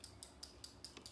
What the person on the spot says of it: you want to shake it up you can hear the little bead in there